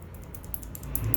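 A worn, loose steel roller follower (valve lifter) from a Chrysler 3.6L engine with 52,000 miles is moved by hand, giving a rapid series of light, bright clicks over a quiet low hum. The failed follower is the source of the engine's loud tapping, caused by oil breakdown and a worn camshaft lobe with a visible groove where the hardened surface wore off.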